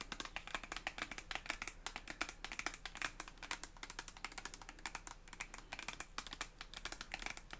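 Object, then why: Soft plastic cosmetic tube. Long acrylic nails tap rapidly on a red soft plastic cosmetic tube with a white cap, hollow and filled. The taps are quiet, crisp and bright clicks that die away almost at once, with a faint low hum underneath.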